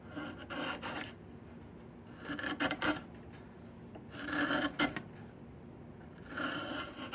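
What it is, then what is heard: Diamond willow stick being scraped. A chisel scrapes along the length of a long, solid diamond willow stick as its bark is stripped. Four rasping strokes, about a second long each, rise out of a low background hiss. Each has a scratchy, mid-toned body and bright upper edges.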